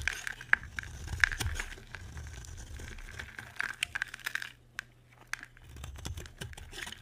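A solid white, hand-sized bar of dry soap is held in the hand and scraped and carved with a metal utility knife blade, shedding powdery shavings. Irregular dry, crackly scraping and crinkling is broken by sharp, short clicks and ticks with a bright edge, over a soft low rumble. A quieter stretch near the end gives way to renewed scraping.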